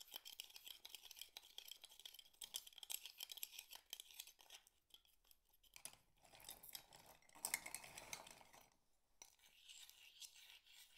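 Fingers rub and tap empty mussel shell halves, which clink against a pile of the same shells on a board. The sound is a quiet, dense run of bright, scratchy clicks and dry rattles with almost no low end, each tick dying away at once. A louder burst of scraping clatter comes around the middle before a short pause and a softer rustle at the end.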